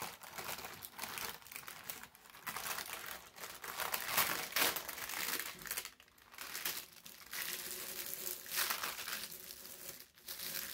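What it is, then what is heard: Thin wrinkled paper sheet being rubbed. A large, wrinkled, thin brown parchment paper sheet spread on a table is rubbed with flat palms and fingertips. It makes a bright, dry crinkling rustle with almost no low end, swelling and easing in uneven waves with a few brief near-silent gaps.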